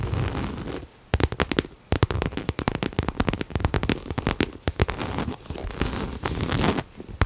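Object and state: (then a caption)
Coated canvas crossbody bag. Long nails tap and scratch the face of a small pink Coach crossbody bag in coated canvas with a cherry print, held hollow in both hands. A dense run of sharp, dry clicks and crackly scratches with brief quiet gaps gives a close, hollow, papery texture.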